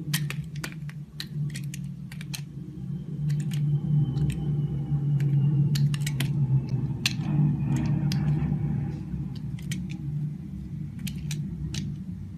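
A solid, oval, translucent yellow glycerin soap bar held in the hand is shaved and scraped with a green-handled utility blade. Crisp, bright scraping and clicking strokes repeat at an uneven pace over a steady low hum.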